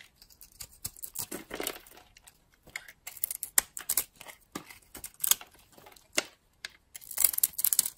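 A utility-knife blade cuts and scrapes curls off a solid blue and green bar of dry soap held in the hand. Quiet, crisp, dry scraping and crackling comes in short bursts, bright and hissy with almost no low end. Sharp clicks stand out between the longer shaving strokes.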